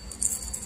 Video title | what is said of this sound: REFRIGERATOR WALANG LAMIG COMPRESSOR SOBRANG INIT ANONG DAHILAN? | pag inalog mong ganyan, yung parang kala mo may mga buhangin sa loob, yung parang magalasgas. Ibig sabihin nagkandadurog na yung laman niya sa loob.